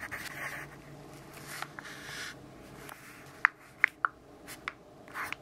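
A graphite pencil writes on the page of an open grid-paper notebook resting on a wooden desk, making soft, dry scratching strokes. Later, brief sharp ticks cut through the quiet hiss, with their energy centred around 1 to 2 kHz and reaching into the highs.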